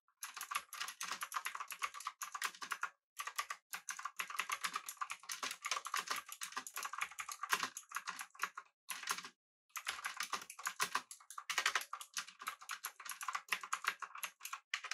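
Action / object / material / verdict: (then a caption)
tap / mechanical keyboard with metal body and round plastic keycaps / plastic, aluminium / none. Both hands type with their fingertips on a full-size, backlit, typewriter-style mechanical keyboard with blue switches, an aluminum body and round plastic keycaps. Fast bursts of crisp, clicky keystrokes centered around 1 kHz with bright high clatter carry on steadily, with brief pauses near 3 and 9.5 seconds. Each click dies away almost instantly.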